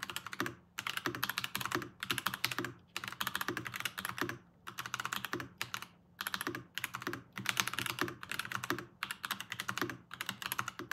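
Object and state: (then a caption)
Plastic mechanical keyboard. A Varmilo VBS108 Chinese-style mechanical keyboard with Kailh ask crane switches and plastic keycaps is typed on continuously with the fingertips of both hands. Rapid, bright, clacky keystrokes come in dense bursts separated by brief pauses, each click dying away almost instantly.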